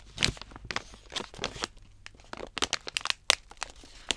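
A medium-size Bakers Allsorts stand-up plastic pouch filled with dog treats is held upright while long nails tap and scratch across its front. The result is a run of bright, crisp crinkling taps with short, dry scratches between them, each hit dying away almost instantly.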